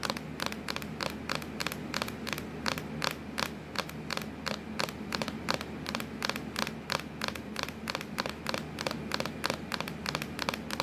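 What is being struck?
Plastic laptop lid.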